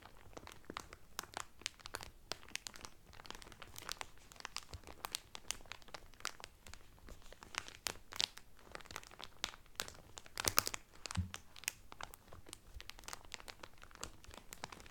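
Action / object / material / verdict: scrape / towel sealed in thin plastic cellophane wrap / cellophane / none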